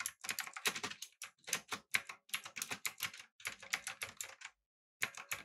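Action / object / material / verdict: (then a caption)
tap / mechanical keyboard with aluminum body and round plastic keycaps / plastic, aluminum / none. Fingertips type rapidly on a backlit, typewriter-style mechanical keyboard with blue switches, an aluminum body and round plastic keycaps. A fast run of bright, crisp clicks with very short decay breaks off for about half a second near the end, then the typing resumes.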